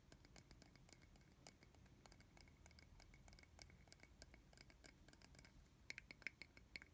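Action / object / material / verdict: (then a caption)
tap / small plastic bottle cap / plastic / none. A small, hollow red plastic bottle cap is held in the hand while fingernails tap and scratch its top and rim. The result is a quiet, steady stream of crisp clicks and dry scratching, with a few brighter, sharper ticks near the end.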